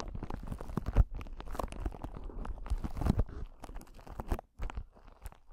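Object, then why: Clear solid crystal ball, glass or acrylic. A clear, palm-sized crystal ball (glass, or possibly acrylic) is held close to the microphone and scratched and tapped with the long acrylic nails of both hands. The result is a dense run of dry, crunchy scratches and quick clicking taps that barely ring. The sound is heavy in the low end, with a brief pause near the end.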